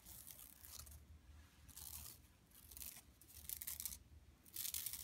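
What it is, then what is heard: Plastic mesh bag, scratched. Long nails scratch across an empty, flat yellow woven plastic mesh tote bag lying on carpet. Five bursts of bright, crackly rasping are separated by quieter pauses over a faint low rumble.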